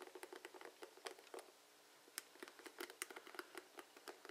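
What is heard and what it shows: Fingertips flick and scratch across the plastic bristle tips of a blue plastic paddle hairbrush, making quiet, dry, bright ticks and rustles. About twenty short, sharp clicks come in uneven bursts, with a brief pause in the middle, each dying away almost instantly with no low-end body.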